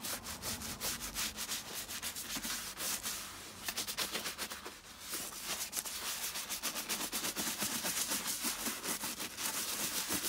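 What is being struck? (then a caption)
Leather boot and bristle brush. A round wooden-handled bristle brush scrubs back and forth over the sudsy, lathered foot section of a tall, hollow, empty tan leather boot. The result is a fast, bright, scratchy rasp of bristle strokes at about four per second, with a brief softer lull near the middle before the scrubbing picks up again, denser and louder.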